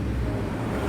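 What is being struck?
Nothing is struck.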